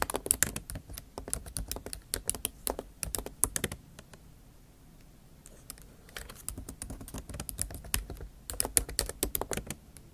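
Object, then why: Laptop keyboard, plastic keys in aluminium body. Long acrylic nail tips type on the plastic keys of a MacBook Pro keyboard set in an aluminium body, producing rapid, bright, sharp clicks with almost no ring. The typing runs in dense bursts, pauses to near silence around the middle, then resumes just as quickly.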